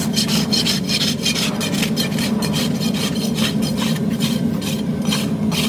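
A steel farrier's rasp is pushed along the outer wall of a horse's hoof, solid keratin horn, resting on a metal hoof stand. Repeated rough filing strokes make a steady scraping rasp, each carrying a bright, hissing edge over a continuous low grinding hum.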